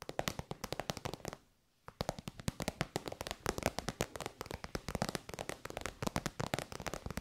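Long white nails tap rapidly on an elongated, shiny pink metallic faux-leather pouch that is soft and hollow. Dozens of quick, crisp, dry taps with a bright clicky edge are heard, with a short silent pause near the start before the fast tapping resumes steadily to the end.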